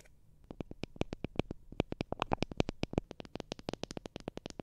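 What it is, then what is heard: Wooden comb. Long dark-red nails scratch and strum along the teeth of a solid, hand-sized, light-coloured wooden hair comb held close to the microphone. The result is a quick, uneven run of sharp, dry ticks with bright, crisp edges that die away instantly. The clicks come faster toward the end.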